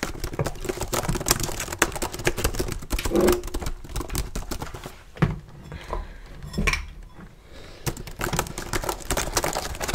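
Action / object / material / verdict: tap / plastic laptop keyboard / plastic / none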